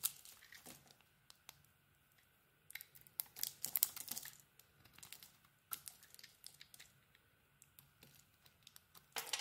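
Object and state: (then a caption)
Bar of soap being carved. A small, solid pink bar of soap with an embossed logo, held in the hand, is shaved and scraped with a metal utility blade, exposing the pale soap beneath. It makes quiet, dry, crisp scraping and crinkling bursts that are mostly high and bright, with short pauses between strokes. A faint, steady low hum sits underneath.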